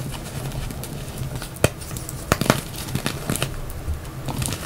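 A solid yellow reformed gym chalk block, about palm size, is broken apart by both hands, then fingertips crush and rub the crumbly dry pieces into the chalk pile. A steady low, gritty rustle runs throughout, broken by a few sharp, bright snaps and crackles that die away almost instantly.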